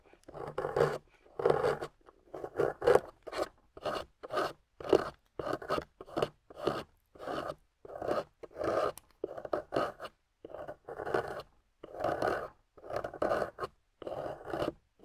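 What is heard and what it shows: A small metal blade tool carves a solid, water-soaked clay block with a golden coating, peeling off clay shavings. Short, separate scraping strokes repeat steadily with brief pauses, each a dry, raspy midrange scrape with little low end and no ringing.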